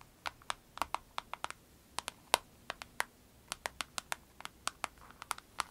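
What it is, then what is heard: Vinyl pencil case tapped with nails. Long nails tap and scratch across the face of a small, flat, clear orange vinyl pencil case with orange piping and pens inside, lying on a dark surface. About 25 sharp, crisp clicks ring out in an irregular rhythm, each dying almost instantly, with bright, high snaps and a light plasticky tone centered near 950 Hz over a quiet background.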